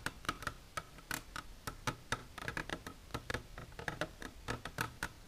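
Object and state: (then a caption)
Hard plastic container tapped with fingernails. Long silver nails tap the sides of an empty, transparent hard plastic container standing upright. The result is an irregular run of quick, sharp clicking taps, each with a brief hollow plastic ring centred around 1.3 kHz, plus bright clicky edges that die away almost instantly.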